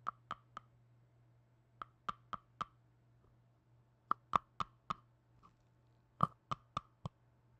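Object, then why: Small plastic jar with lid. A small red plastic tub with a lid is opened and closed and tapped and clicked with black-gloved fingers. Fifteen short, dry knocks around 1.1 kHz come in four quick groups of three to four, with a faint steady low hum underneath. Each knock dies away almost at once.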